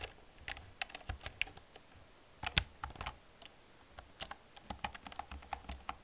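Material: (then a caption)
Plastic. Long painted nails and fingertips type on an old black plastic computer keyboard with hollow plastic keys. The result is quiet, uneven bursts of sharp, bright clicks and taps that die away almost instantly, with a faint low thump under the louder strokes.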